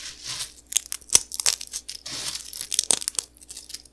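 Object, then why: Puffed cereal pieces crushed between fingertips. Both hands break and crush small, dry, crispy puffed cereal pillows between the fingertips above a pile of crumbled fragments. The result is a run of bright, dry crackles and sharp crunchy snaps with almost no low end, each dying away almost instantly, with brief quiet gaps between bursts.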